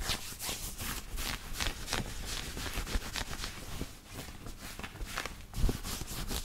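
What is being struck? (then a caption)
Cotton knit t-shirt worn on the body. Fingertips and nails rub and scratch across the chest of a black knit cotton t-shirt being worn on the body. The result is a steady, dense run of soft, bright scratching strokes over a low rumble, with a slightly louder scrape near the end.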